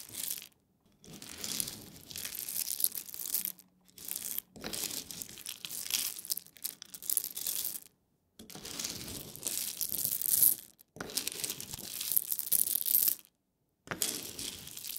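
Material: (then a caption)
Coffee beans. A wooden spoon digs into a heap of whole roasted coffee beans on a wooden board and pours them, so the small hard beans clatter and rattle onto the pile and the board. The sound comes in several dense bursts of bright, crisp crackling with almost no low end, separated by short silences.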